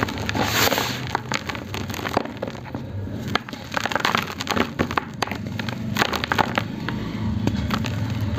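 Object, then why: Lumps of cement in cement powder. Solid lumps of dry grey cement, sitting in a black plastic tub of cement powder, are gripped in both hands and crushed between the fingers. Dense, dry crackling and crunching snaps come through over a low rustle. The lumps crumble down into the powder.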